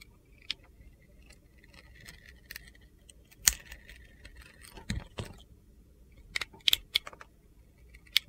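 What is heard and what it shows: A handheld solid red glitter soap bar with gold stars is carved and scraped with a utility knife, shaving off layers of soap. Short, bright, crisp scraping clicks come at irregular intervals over a faint low background hiss, with the sharpest cuts standing out around the middle and end.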